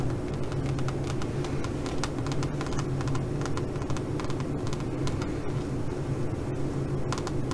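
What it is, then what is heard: Metallic crinkled fabric pouch. Long nails tap and scratch across a flat silver fabric pouch with a crinkled metallic coating. The result is a stream of quick, irregular crisp ticks and scrapes over a steady low hum that runs through the whole clip.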